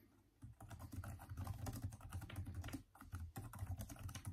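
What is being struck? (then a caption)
Plastic laptop keyboard. Both hands type continuously with the fingertips on the backlit, hollow-keyed plastic keyboard of a Microsoft Surface laptop. After a quiet half-second, the rapid key taps sound short, dull and bass-heavy with little brightness. The typing pauses briefly near the three-second mark and then resumes.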